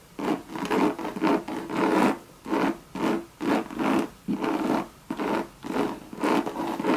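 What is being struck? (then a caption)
Coated canvas and leather handbag. Long red nails scratch the Monogram coated canvas and leather trim of a hollow Louis Vuitton bucket bag. Repeated raspy strokes rise and fade in short bursts with a slightly hollow, resonant tone.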